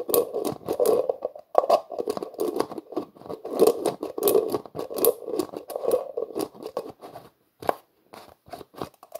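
Hands twist the black plastic screw lid on a translucent plastic jar, producing a rapid run of scraping clicks centered in the midrange with bright, sharp edges. The grinding ratchet is dense for about seven seconds, then thins into a few scattered clicks separated by near silence.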